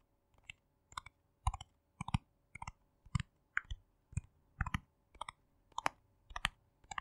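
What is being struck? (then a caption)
Small plastic cosmetic jar with screw lid. Fingertips and nails tap and click on the lid and sides of a small, round, hollow yellow plastic cosmetic jar with a screw lid and a label, held in both hands. The quiet, steady taps come in quick singles and pairs. Each is a dry, hollow knock with a bright click on top that stops at once, with no ring.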